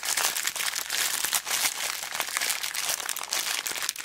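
A small clear plastic zip bag full of beads is squeezed and crinkled with fingertips and long black nails. It makes a steady stream of bright, crackly crinkles with light rattling shifts of the beads, rising and falling in quick bursts with no low end.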